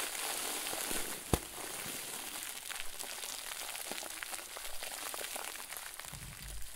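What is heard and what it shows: A round white plastic bag filled with soft, fluffy stuffing is squeezed and crumpled with both hands. It produces a steady, bright, hissing crinkle with many small crackles and one sharp snap early on. The rustling continues at a soft, even level to the end.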